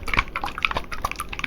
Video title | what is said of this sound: Crafting Body Oil - My First ASMR Video! | moves around like oil, but a little slower